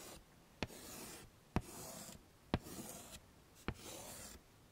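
White chalk scrawls and draws across the dark surface of a small handheld chalkboard with a pine frame lying flat, and fingertips also rub over the chalk letters. Bursts of dry, scratchy, hissing strokes alternate with short pauses, and five sharp tap-like clicks stand out at the start of each stroke.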